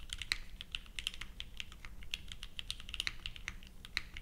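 Both hands type continuously with their fingertips on a purple 60% plateless Leviatán r0 mechanical keyboard, featuring GatX r1, with white, pink and purple ABS plastic keycaps, resting on a felt mat. The result is a rapid, steady stream of short, bright clacks that die away almost instantly, over a faint low background hum.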